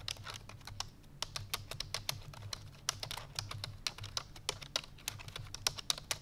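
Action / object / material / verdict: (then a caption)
tap / plastic computer keyboard / plastic / none. Fingertips with long painted nails type rapidly on a full-size black plastic computer keyboard resting on a white fur rug. The result is a quick run of short, bright, clicky key taps that die away almost instantly, over a faint low steady hum.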